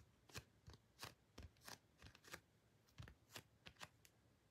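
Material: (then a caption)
Cardboard. Long painted fingernails tap and scratch across the surface of a large, glossy printed cardboard photo card resting on an album. The result is a quiet, irregular series of short, dry clicks with bright, scratchy tops and soft low thumps, each dying away almost instantly.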